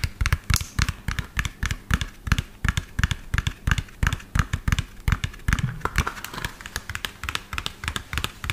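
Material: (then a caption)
Plastic. A medium lime-green hollow plastic toy dump truck with an empty tipper bed is turned in the hand and tapped fast with the fingernails. About 44 quick, dry taps land in a steady, busy rhythm, each a hollow low thump with a bright clicky tick on top that dies away almost at once.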